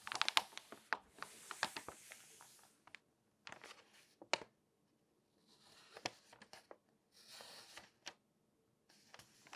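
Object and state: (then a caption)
Glossy paper magazine pages being handled. Fingertips and long nails rub and turn the pages of an open glossy paper magazine. Crisp, bright crinkling rustles and sharp clicky ticks come in short bursts, separated by brief silent pauses.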